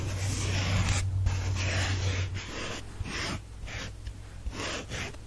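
Fingernails scratch and trace over a heart-shaped, soft, solid pink porous foam sponge held in one hand. Soft, airy rasping comes in repeated short strokes over a steady low hum. The scratching stays dry and hushed, fading slightly toward the end.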